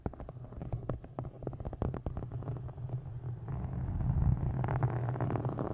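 Long nails tap and scratch the embossed surface of a solid, dark green hardcover book with a faux-leather cover. Quick, uneven, dull low taps come first, then give way to a denser, louder scratching rustle with a brighter edge toward the end.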